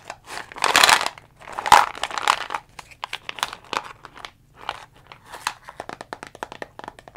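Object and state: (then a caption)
Plastic vitamin bottle. Long fingernails tap and scratch a dark brown plastic Jamieson vitamin C bottle with a label. Broad, crinkly scratching bursts come first, followed by a run of quick, sharp, bright plastic clicks. Each click dies away almost at once.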